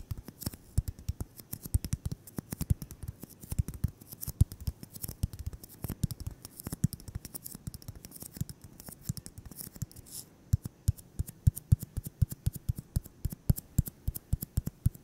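A solid white styrofoam ball, about 8 cm across, is held in the hands and tapped and scratched with fingertips and short nails. Quick, dry, low thumping taps come in a dense, irregular stream over a soft scratchy rustle, each tap dying almost instantly with a faint bright click on top. Around the ten-second mark the rustling drops away, and the taps become cleaner, more spaced out and slightly sharper.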